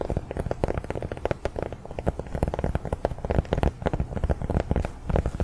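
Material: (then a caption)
Cork. A large round cork coaster is tapped rapidly with the fingers, producing a steady patter of soft, dull, low thuds. Each tap dies away almost instantly, with no ring and little brightness.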